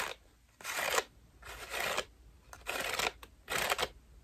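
A white foam bath loofah with a rope loop is scratched and squeezed with long nails. The result is a series of dry, crinkly scratching bursts, each about half a second long, spread across mid and high frequencies, with quiet gaps between them.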